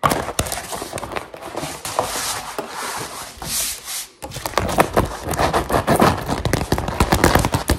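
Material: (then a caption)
Rubber. A grey-green textured rubber mesh liner mat, curled into a hollow roll on a table, is rubbed and scratched with long metal claw finger rings. Dense, bright, gritty scratching fills the first four seconds, then drops to a brief near-silent break. It resumes as faster, choppier bursts of scraping and clicking.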